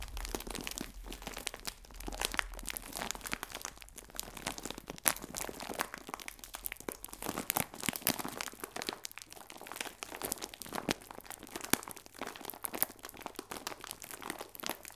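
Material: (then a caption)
Plastic film. A clear plastic film bag full of biscuits is held sideways and squeezed with fingertips and nails, giving a dense, continuous crinkling with sharp, bright crackles. The rustling stays steady and close for the whole clip, with quick snaps that die away almost instantly.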